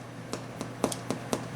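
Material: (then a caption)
Bread crust. Six quick, soft taps on the bottom of a freshly baked homemade French bread baguette give short, dull, slightly hollow knocks with a low-mid body and almost no ring. The hollow sound shows the loaf is baked through.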